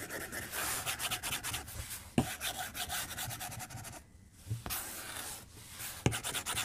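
A white plastic stylus tip is drawn across the glass screen of a tablet lying flat on a desk in long strokes, making a soft, dry, bright scratching and rubbing sound. The strokes run almost continuously, with three sharp taps of the tip on the glass and a brief quiet gap just past the middle.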